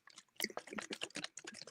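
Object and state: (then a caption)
Nearly empty coffee cup with a little liquid left. A nearly empty coffee cup is shaken close to a microphone, and the small amount of coffee left inside sloshes around. The sound is a quick run of soft, bright swishes and splashes.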